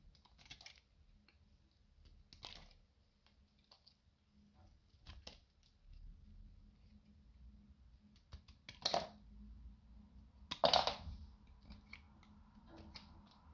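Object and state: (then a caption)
Dry bar soap. A metal utility knife slices crisp pieces off a small, dry, rancid piece of beige bar soap held in the fingers. Short, bright scraping crunches come at irregular intervals over a faint low hum. The two loudest, fullest cuts land near the end.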